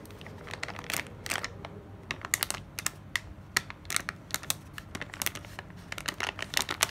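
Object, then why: Kraft paper sleeve with clear plastic window. A flat kraft paper sleeve with a clear plastic window is held in the hands and scratched and crinkled with long nails. Many short, bright, crisp taps and crinkles sound in irregular bursts over a quiet background hiss.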